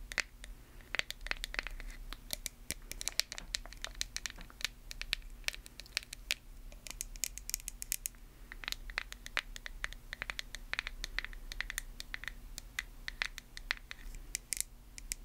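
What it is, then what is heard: Plastic cosmetic jar. Long nails scratch and tap the label and lid of a small white plastic face-mask jar. Rapid, dry, bright clicks and crinkly scratches with almost no ring sit over a steady low hum, quieting briefly now and then before resuming.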